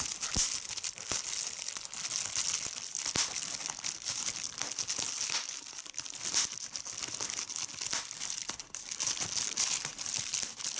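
A clear plastic bubble wrap sheet is pinched between thumb and fingers with long red nails, popping its bubbles. The sharp, bright pops come one after another over a steady crinkling of the film, and nearly all the sound sits high with almost no low end.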